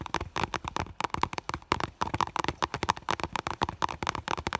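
Long nails tap and scratch quickly across the front of an iridescent, clear holographic PVC vinyl school bag. The result is a dense stream of short, dry, crackly clicks with a plasticky tone around 950 Hz and bright edges, and almost no ring between strokes.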